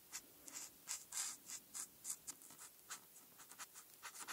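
A marker tip is drawn across a flat printed paper coloring sheet in short rubbing strokes to color black stripes, held by a hand with long red nails. About thirteen quick, irregular scratchy strokes are heard, each a soft, bright, high hiss with almost no low end, stopping dead with no ring.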